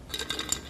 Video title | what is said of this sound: Devin Knight | there's a little sound of flakes on that one